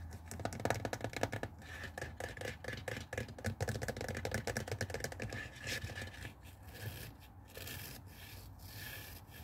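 Fingernails scratch and rub the hollow blue plastic water tank of a handheld garment steamer resting on a wooden table, making a fast run of dry, raspy scratches with a low hollow body. The strokes fade into softer rubbing and a bright, hissy handling sound as the hand grips the tank.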